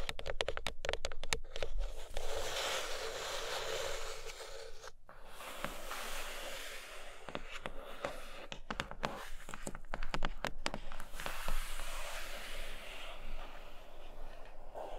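Long acrylic nails tap and scratch across the grey lid of an opened, flat, rigid cardboard box, large and hollow, lying on a fluffy blanket. Quick, irregular hollow taps open the clip, then give way to a steady, bright scraping that briefly stops around five seconds. The scratching resumes with more scattered sharp taps over a faint low hum.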